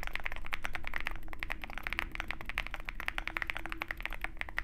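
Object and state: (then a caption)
Mechanical keyboard with plastic keycaps in a metal case. Both hands type continuously on a compact 65% mechanical keyboard with white plastic keycaps and a dark metal case, resting on a desk mat. A rapid, uneven stream of short, crisp keystroke clicks with a bright midrange snap runs over a low hum.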